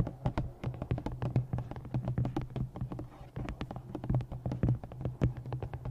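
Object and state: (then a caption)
Paperback book. Long nails tap rapidly along the top edge of a thick black glossy paperback novel and scratch across its cover. The result is a dense run of short, dull taps with brief scratchy strokes, mostly low in tone, over a steady low hum.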